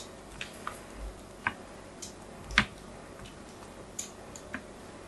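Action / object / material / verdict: scrape / bar of soap cut with a metal blade / soap / none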